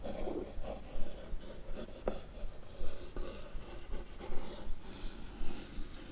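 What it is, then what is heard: Cardboard box scratched with a fingernail. A single long nail scratches and traces lines across the lid of a closed, hollow, blue printed cardboard box. The dry, rasping strokes come in an uneven series of short scrapes with quick, soft accents.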